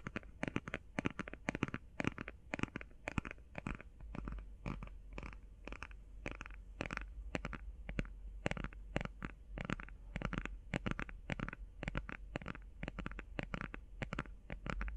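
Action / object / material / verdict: tap / small flat cardboard eyeshadow palette tapped with fingernails / cardboard / none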